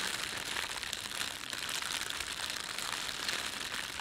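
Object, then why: Thin plastic bread bag. Fingertips rub and crumple the film of a thin, empty, red printed plastic bread bag. A steady, continuous crinkling fills the clip, dense and bright with almost no low end.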